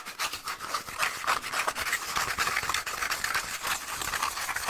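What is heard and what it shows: A small, hollow, empty cardboard toilet paper tube, held in both hands close to the mic, is scratched rapidly with fingernails. The result is a fast, dense, uneven run of dry, bright scratching strokes with a papery rasp and almost no low end.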